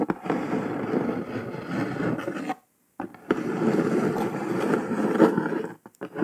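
Long pointed nails scratch and trace across a flat brown kraft cardboard box lid with red printed text, making a steady dry, papery rasp in the low-mid range. The rasp breaks off into a brief silence, resumes for a second long stretch, and ends with a few quick light taps.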